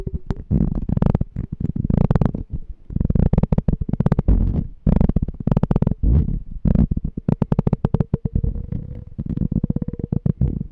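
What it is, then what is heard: Empty glass jar. A small, empty, clear glass jar with a pink and white label is held in both hands while fingertips and nails tap and scratch its glass wall. The result is dense, rapid bursts of close, low, hollow tapping with brief scratchy rubs and a faint ringing tone.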